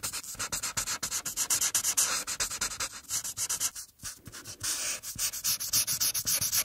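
A felt marker tip is rubbed steadily across a single thin paper coloring page lying on a table, in coloring strokes across the drawn figure's forehead. It makes a bright, high, scratchy hiss in rapid back-and-forth strokes of about four per second, with almost no low end. There is a brief pause near the four-second mark.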